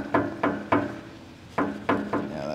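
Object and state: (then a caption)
Full metal fuel tank. Six knocks on the metal fuel tank of a 1975 International 1800 truck that has sat for about 24 years, each a dull, short thud with a low muted pitch that dies away quickly. The deadened sound indicates the tank is full, with old gas still inside.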